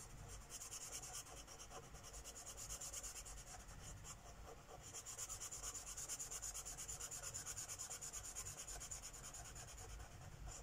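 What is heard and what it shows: A Sharpie marker tip is rubbed rapidly and densely across a flat paper page of a coloring book lying on a wooden table, coloring in a petal. A soft, bright, scratchy rubbing hiss pulses in quick, fairly steady strokes, easing briefly in the middle before picking back up.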